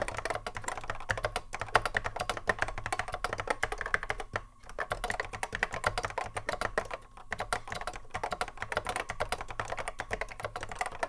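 Continuous touch typing by the fingertips of both hands on a cream Apple M0110A keyboard, a hollow plastic case with Alps SKCC mechanical switches sitting on a wooden desk. Dense, rapid clacky keystrokes with short dry decays run throughout, with a mid-pitched plastic tone and brief pauses around 4.5 and 7 seconds.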